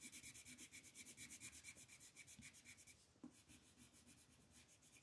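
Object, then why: Wooden colored pencil on a paper sheet. A dark green wooden colored pencil shades leaves near the edge of a mandala on a flat printed paper coloring sheet resting on a table. Quick, rhythmic back-and-forth rubbing strokes make a bright, scratchy hiss that is strongest in the first three seconds. The strokes then grow softer and lighter, with a brief tap just after the three-second mark.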